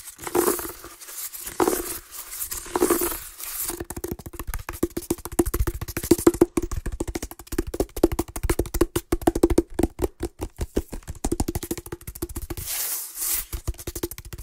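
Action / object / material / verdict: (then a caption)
tap / woven seagrass basket / woven plant fibre / none. Fingertips and nails tap and scratch along a round, hollow, empty woven basket of natural plant fibre (seagrass or water hyacinth), roughly head-sized and held close to the microphone, and a flat palm slaps it. Rapid, dry, woody taps carry a steady hollow tone around 340 Hz, broken by softer bright scratchy rustles at the start and near the end.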